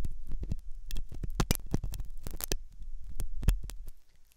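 A metal dental pick scrapes inside the hollow ear canal of a white, soft silicone ear on a binaural microphone. The sound is close and muffled, with a deep low rumble under a rapid series of short scratching clicks and scrapes, some flaring bright, before it fades quieter at the end.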